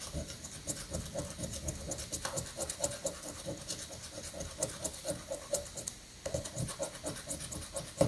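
A coin rapidly scratches the latex coating off a thin paper prank lottery ticket held down on a sandy granite countertop. The result is a steady run of quick, gritty rasping strokes with a bright, hissy top and a faint repeating mid-pitched tone around 540 Hz. There is a brief lull near the six-second mark before the scratching resumes.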